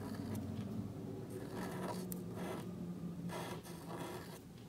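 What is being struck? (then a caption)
Marker nib on thin paper card. A calligraphy marker nib scratches across a small, thin black cardstock card resting on a table as it writes. Soft, dry scraping strokes come in short bursts, some brighter and sharper, over a steady low hum.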